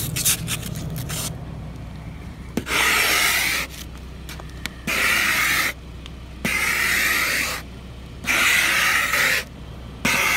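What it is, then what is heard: Ice scraped off a frosted car window. A blue plastic ice scraper held in a hand scrapes across a large, flat, frosted glass car window, clearing strips of ice. After a few quick scratches at the start, long rasping strokes come in loud, bright bursts, with quieter gaps between them.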